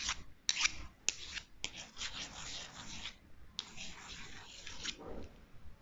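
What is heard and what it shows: Two long, thin, solid wooden chopsticks, one held in each hand, are crossed and scratched and rubbed against each other close to the microphone. Bright, dry scraping and rasping strokes are heard, broken by five sharp clicks where the sticks catch, with no ring after each contact.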